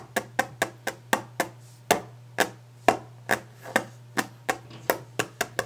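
Fast, aggressive hand tapping and scratching on a wooden desk, heard as 17 sharp, dry knocks in an uneven rapid rhythm. Each knock has a bright attack and dies out almost at once. A faint, steady low hum runs underneath throughout.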